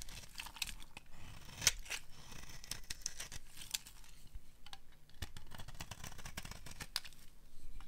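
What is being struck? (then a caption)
Soap bar shaved with a small blade. A small metal blade scrapes and shaves a palm-sized solid bar of dry yellow soap held in the hand, sending flakes falling onto a pile of shavings. The clip is a run of dry, crisp scrapes with bright, sharp ticks and crackles as the blade cuts, over a quiet low rumble.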